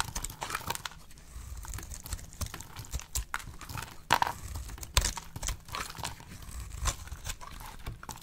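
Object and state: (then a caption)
Dry bar soap being shaved. A solid, oval, dry pink soap bar held in the hand is shaved into brittle flakes with a box-cutter blade. The sound is a run of crisp, dry scraping crunches and crackles with no ring, with sharper snaps standing out near the middle. Bright flake crackle sits over a soft low rumble.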